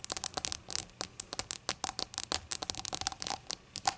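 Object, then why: Glass shot glass. A glass shot glass is tapped in a quick, uneven run of bright, short clinks, with scattered light fidgeting contact between them. The sound is thin and high, with almost no low end. Each tap dies away almost at once.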